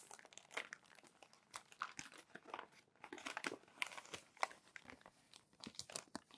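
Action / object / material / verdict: scrape / glossy magazine pages / glossy paper / none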